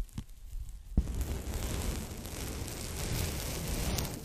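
A folded strip of pink polyethylene foam packing bag is held in both hands while fingertips and nails lightly tap and rub the foam. A couple of soft, dull taps open the clip, followed by a steady, quiet crackling rustle of scratching that stays low and muffled with only a faint bright hiss.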